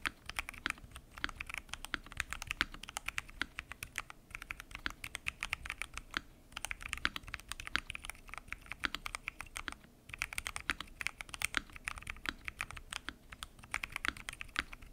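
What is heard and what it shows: Fingertips type continuously on a full-size mechanical keyboard with lubed switches, pink and mint PBT keycaps and a transparent acrylic case. Rapid, short, bright clacks run in steady bursts with a few brief pauses, each keystroke dying away almost instantly.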